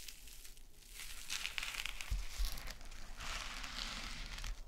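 A small gold metallic mesh scrub sponge is bent and squeezed, then scratched with long nails on a sequin mat. Bright, dense crinkling and scratchy rustling rise and fall throughout, with a few soft low thumps as the pad is pressed.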